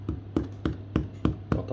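A homemade walnut spelt bread loaf is tapped after 25 minutes of baking, giving a series of evenly spaced, short, low hollow knocks. The hollow sound is a good sign that the loaf is baked through and done.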